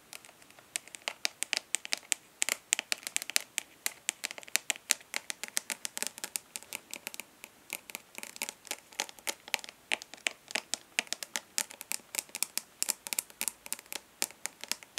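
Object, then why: Plastic eyeshadow palette lid. Long nails of both hands rapidly tap and lightly scratch the embossed front lid of a rectangular, hollow plastic eyeshadow palette held upright. Dozens of quick, crisp, bright clicks come in an uneven stream, mixed with thin scratchy rasps. The sound is dry, with no low end and no ringing after each tap.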